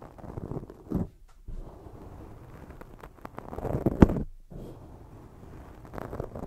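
Long jeweled fake nails scratch and rub over a black foam microphone windscreen held in both hands. The result is a dense, muffled, low-heavy crackle of scratching and rubbing that comes in bursts, with brief silent pauses. It peaks in a sharp, louder scrape near the middle.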